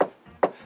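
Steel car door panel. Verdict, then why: Damped. Two knocks on a steel car door panel, spaced about 0.4 seconds apart, each a short, dull thud centred around 540 Hz that dies away almost immediately. Compared with the car's roof, the door rings less and sounds less resonant.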